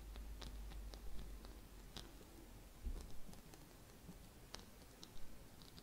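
Long red-painted nails scratch over a small gold glitter-coated Christmas bauble with a gold loop. The scratching is quiet and comes as soft, dry, irregular ticks and brief bright clicks over a low background rumble.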